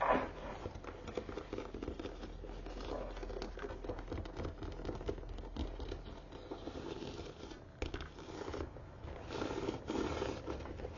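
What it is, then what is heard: Embossed leather bag base. A brown croc-embossed leather tote is held upside down, showing its flat leather base with four metal feet, while fingertips and long nails tap and scratch across the base. Soft, dense crinkly scratching and light tapping continue steadily throughout at a low level, with a slightly louder flurry near the start and near the end.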